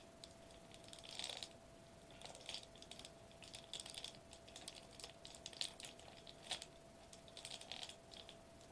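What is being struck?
Metallized plastic bubble wrap sheet.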